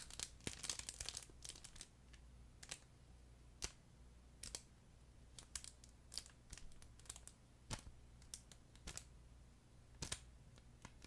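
A flat, soft, yellow furry plush chicken pet toy with a crinkle film layer inside is held next to the microphone and squeezed and rubbed with fingertips. Bright, crisp crinkling bursts come thick in the first second or so, then as scattered sharp crackles over a steady low hum.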